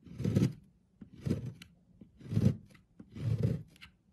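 A blade shaves thin flakes from the face of a solid, oval, pale green bar of soap held by hand on a wooden board. Four soft, low scraping strokes come at a steady pace, each with a bright rasp above, and small faint clicks fall between them.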